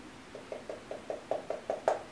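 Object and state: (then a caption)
Dry crisp shrimp cracker. A giant shrimp-flavored Japanese cracker with seaweed bits, just pulled from its package and already slightly cracked inside from being crushed earlier, is knocked with a quick, evenly spaced series of light taps. Each tap is a short, dry, hollow knock centered around 650 Hz that dies away almost instantly, with the final tap the loudest. The dry, crisp cracker sounds like cardboard.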